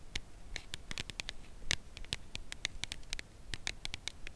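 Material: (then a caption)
Cardboard. Long acrylic nails tap along the side of a red Lindt Lindor cardboard box holding a chocolate bar, held edge-up. The result is a steady run of short, dry, bright clicks with a faint low thud beneath each and no ring after.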